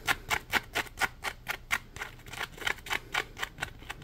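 Fingertips scratch and tap the ridged side of a palm-sized, solid, yellow polymer foam Scrub Daddy sponge held edge-up. About 17 short, dry, bright scratchy taps come at an uneven pace of roughly two per second, each dying away almost instantly with little low end.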